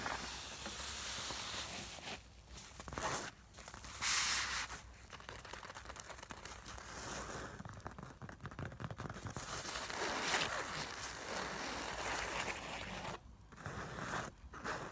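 A filled, puffy, medium-sized soft black nylon makeup bag lies on a wooden table while long pointed nails scratch and tap across its fabric top. The result is a steady, bright, crinkly scratching hiss broken by quick taps, with a few brief quiet gaps.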